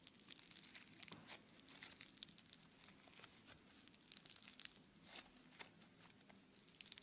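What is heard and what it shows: Fingers squeeze and knead a solid, palm-sized lump of blue bead-filled foam clay (Floam). It gives a steady run of quiet, bright crackles and sharp little pops over a faint low hum. Each snap dies away almost instantly.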